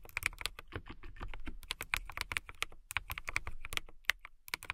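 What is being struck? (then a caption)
Plastic mechanical keyboard keys. Fingertips with long pink nails press and tap the keys of a full-size transparent KiiBOOM Phantom 81 mechanical keyboard with clear plastic keycaps and an RGB-lit case, in steady typing. About 25 quick, sharp, bright clacks with a low thud underneath ring out at an uneven pace, each cutting off almost instantly.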